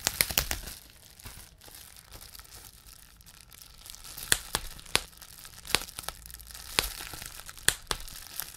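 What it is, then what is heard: Bubble wrap being popped. A clear plastic bubble wrap sheet has its bubbles pinched between the fingertips of both hands to pop them. A quick cluster of sharp pops comes at the start, followed by quieter crinkling of the plastic. Then louder, brighter pops arrive singly at irregular intervals, each snapping off almost instantly.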